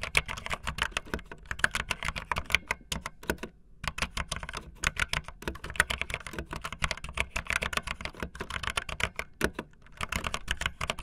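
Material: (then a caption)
Plastic. Fingertips with long nails type fast on a backlit optical linear mechanical keyboard with white and blue plastic keycaps. A dense, steady stream of short, bright plastic clacks runs throughout, with a brief pause just before the fourth second.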